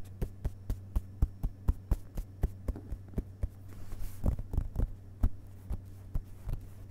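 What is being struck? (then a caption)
Open paper book pages. Fingertips tap briefly with one hand on the printed paper pages of an open hardcover book resting on carpet. About 24 soft, dull, short taps come at a quick, uneven pace over a steady low hum. A faint brushing hiss rises near the middle of the clip.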